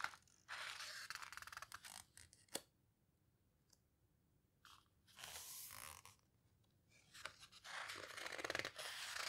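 Long nails grip and squeeze the edges of heavy paper pages in an open paper photo book, then turn a page. Bright, crackly rustling bursts alternate with quiet pauses, with a sharp tick partway through and a final sweep of crisp paper noise as the page turns.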